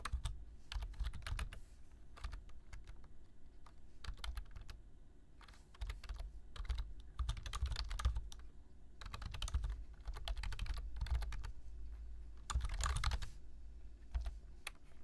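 Fingertips type steadily on a black plastic computer keyboard, tapping out quick bursts of bright, crisp key clicks with brief pauses between runs. A steady low hum sits underneath the clicking throughout.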